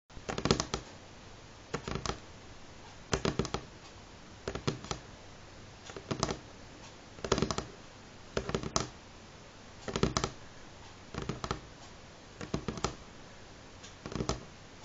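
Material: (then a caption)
Wood. Medium-length fingernails of both hands rapidly tap a solid, light pine-grain wooden table top. The tapping comes in eleven quick flurries of dry, sharp clicks with almost no ring, separated by quiet pauses.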